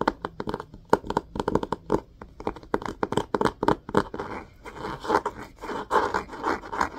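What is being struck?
Hardcover book with cloth-covered cardboard cover.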